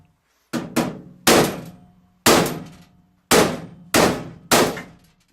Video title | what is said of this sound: Goodman GMP heat exchanger autopsy | you can hear those rings bounced in there when you hit it with a hammer